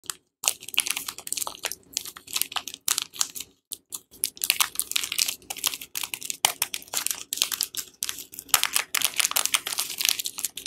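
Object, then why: Soap bar in a paper wrapper. A single palm-sized, solid Lux bar soap, still in its printed paper/film wrapper, is held in both hands while fingertips and long painted nails press and scratch the wrapper. The result is a steady run of dry, bright crinkling and scratching sounds in short bursts with brief pauses, with almost no low end.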